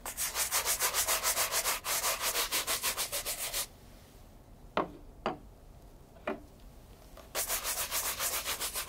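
A light brown leather loafer fitted with a wooden shoe tree is held in hand and vigorously brushed with a wooden-backed horsehair brush. Rapid, bright, swishing strokes fill the first few seconds, then stop for a quiet pause broken by three brief sharp sounds. The brisk brushing then starts again.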